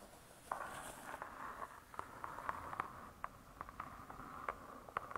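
Long stiletto nails tap and scratch the closed, laminated board cover of a spiral-bound hardcover cookbook. Quick, dry clicks with a hollow tone around 1 kHz stand out over a soft, steady scratching hiss. Each tap dies away almost at once.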